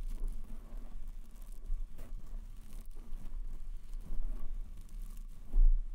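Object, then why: Foam microphone windscreen. Fingertips tap and rub the soft white foam windscreen fitted over a black metal microphone. The result is quiet, muffled low thumps and soft rustling, with nearly all the energy at the low end and very little ring after each touch.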